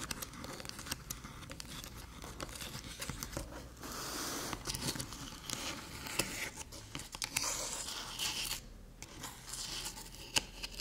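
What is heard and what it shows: Long metallic nails scratch along the edges and ports of a small, flat, hollow aluminium USB-C hub resting on a dark table. Dense, bright scraping and crackling runs through the whole clip, scattered with many quick sharp ticks. A steady low hum sits underneath.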